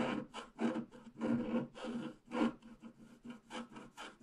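A wooden stylus scratches the trunk on a flat black-coated scratch art paper sheet, working toward the bottom. It makes a series of short, dry rasping strokes with a low-mid tone and a bright scraping edge, each fading quickly.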